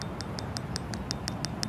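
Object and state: Petrified wood, turned to stone.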